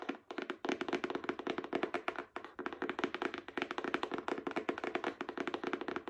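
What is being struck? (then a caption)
Hardcover book with paper dust jacket. Long acrylic nails tap rapidly and steadily on the front cover of a solid Spark Joy hardcover book with a paper dust jacket. The taps are short, dry clicks with a mid-range tone around 350 Hz, little low end and only brief pauses between bursts.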